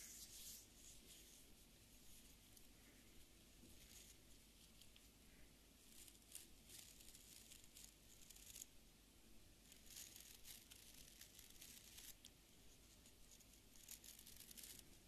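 Fingertips and nails flick and scratch across the dense, stiff dark fibre bristles of a small beard brush with an orange wooden back, held in one hand. A quiet, steady stream of bright, dry crackling and scratchy rustles plays over a low background hum, with brief louder bursts throughout.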